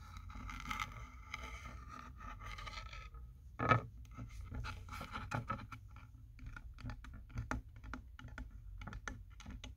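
Fingertips and nails scratch and tap along the grain and seams of a solid wooden sign made of vertical plank strips, with printed lettering and a paw-heart cutout, hanging on a wall. A few seconds of steady, raspy scratching give way to one sharp, loud tap, followed by a run of short, dry taps and scrapes. A low, steady hum sits underneath throughout.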